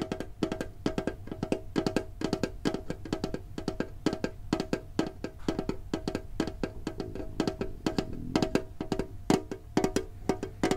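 A green, printed, hollow metal Pokemon card tin box is held and tapped on its lid with fingertips and short nails. The result is a fast, uneven run of light, hollow, clicky taps with a short tinny ring around 300 Hz and a bright edge. A faint steady low hum sits underneath.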